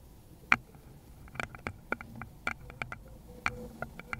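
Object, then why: Small wooden bowl. Long pointed nails in glittery lace gloves tap and scratch the base of a small, hollow, round wooden bowl with visible grain, held base-outward next to a fluffy microphone cover. Irregular, crisp, bright clicks die away instantly, with soft scratching in between. A faint low background hum sits underneath.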